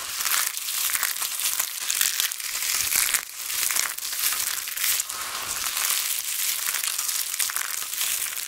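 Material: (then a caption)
Soap. Hands with long nails scoop brittle dried pink and grey soap shards and crush them between the palms and fingers, letting them fall back onto the pile. A dense, continuous crackling and crumpling fills the clip, bright and high with almost no low end, swelling and easing in waves without clear separate hits.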